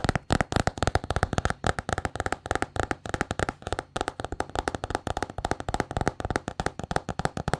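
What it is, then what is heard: Paper-covered notebook. Long painted nails tap and scratch a small, solid notebook with a patterned paper cover. A rapid, irregular run of short, dry, muffled clicks and low thuds continues throughout, each dying away almost instantly, with light scratching between the taps.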